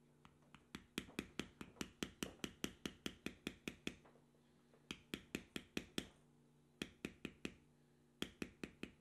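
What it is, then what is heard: Metal tool tapped on vegetable-tanned leather. A metal beveling tool, held in the fingertips, is tapped repeatedly along the carved lines of a tan, carved, vegetable-tanned leather strip resting on a stone slab. The result is 32 short, dry, bright clicks in quick bursts, separated by brief pauses, over a faint steady low hum.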